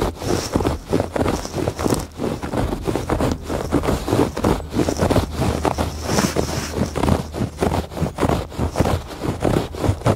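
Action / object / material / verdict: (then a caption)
scrape / woven textile rug / woven fabric / none. Fingertips and nails scratch across the textured surface of a woven fabric rug lying flat. The result is a steady run of rough, rasping strokes, each a short burst of dry friction noise. They are weighted toward the low and middle range, with little brightness on top.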